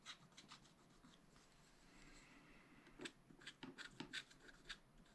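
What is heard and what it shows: A wooden stylus scratches a black wax-coated scratch-art sheet in a spiral-bound pad. The result is a quiet run of short, dry, bright scratching strokes at an uneven pace, with a soft rasping hiss between them. The strokes grow sharper and more distinct toward the end.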